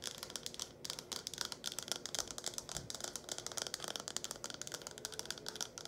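A small, hollow, empty red plastic cup with a curved lip, held in both hands, is tapped and scratched quickly with long acrylic nails. The result is a dense, steady run of sharp, bright clicks and dry scratches with almost no ring and very little low end.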